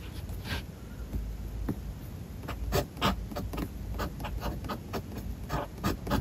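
A steel fountain pen nib scratches across a spiral-bound paper notebook page as a hand writes text. Short, dry scratching strokes come in an irregular rhythm over a low background rumble, with brief bright streaks on each stroke.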